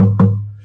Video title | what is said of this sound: Saddle Intonation, Chladni Patterns and More - Guitar Making Q&A | the air resonance of this instrument is 103 hertz